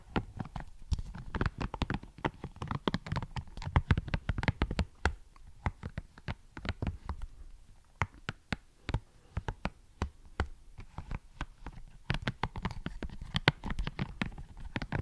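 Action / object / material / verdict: tap / silicone scalp massager brush / silicone / none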